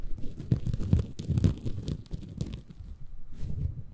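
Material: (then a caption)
Bamboo fiber. Fingertips scratch and squeeze a small, soft, compressible green porous bamboo fiber sponge held in both hands above a Tascam recorder. The result is a close, muffled crunching and rustling, heavy in the low end, rising and falling in quick uneven bursts.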